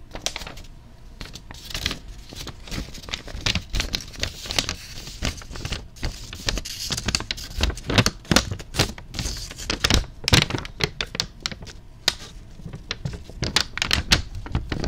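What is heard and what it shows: A thin white tissue wrapping paper sheet printed with a red MunchPak logo is held up close and crinkled and rubbed between fingertips. Dense, rapid crinkling and crackling fill the clip with sharp, bright snaps over a soft low rustle. Louder bursts of crunching come in waves throughout.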